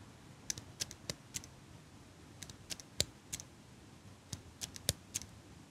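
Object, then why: Small metal eyelash curler. A small metal eyelash curler is held in one hand while long pink nails tap and click against its metal frame. Sharp, bright little clicks come in irregular clusters over a quiet, steady hiss, each one dying away almost instantly.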